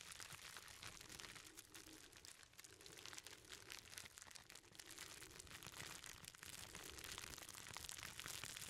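A hand-sized bundle of clear plastic bubble wrap is squeezed and rubbed with the fingertips. It makes a steady, quiet stream of bright crinkling and crackling that continues throughout.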